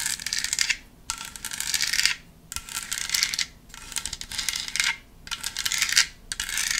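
Long nails tap and scratch the ribbed surface of a hand-sized black decorative foam pumpkin with a spiderweb print. Bursts of bright, crackly scratching and tapping, with almost no low end, are separated by brief quiet pauses.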